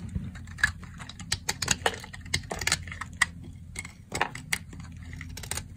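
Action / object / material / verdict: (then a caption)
scrape / soap bar cut with a blade / soap / none. A solid, dry, cream-colored soap bar held in the hand is cut into crumbly chunks with a box-cutter blade. The cuts make a rapid series of short, crisp, bright crackling snaps and scrapes over a faint low hum. Each one stops almost instantly.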